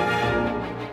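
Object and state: Nothing is struck.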